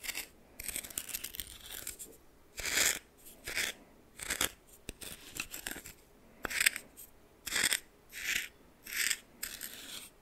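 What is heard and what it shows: A red plastic spoon scoops and stirs coarse salt in a small bowl, producing a series of bright, crunchy, gritty scrapes with short pauses between strokes. The sound is mostly high and hissy, with almost no low end.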